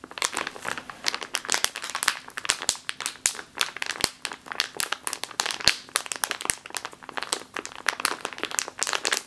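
A full plastic bag of flour resting on a table is scratched and squeezed with long nails. It makes a dense, continuous stream of bright crinkling and crackling with sharp little snaps, heavy in the high range and with almost no low end.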